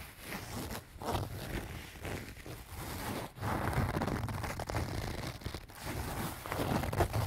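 Fingernails scratch the front and sides of a small, soft-sided pink-and-white leaf-print canvas zip pouch that appears to be filled. The result is a steady, dense scratching and rustling of fabric in irregular bursts, with a muffled, low-heavy texture and a few brief pauses.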